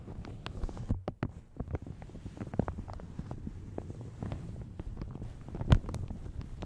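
A light blue plastic shower cap stretched over a large hollow Yeti microphone is crinkled and rubbed with fingertips and long nails. The result is a steady stream of soft, close crackles and rustles, heavy in the low end and dull rather than bright. A louder crinkle stands out near the end.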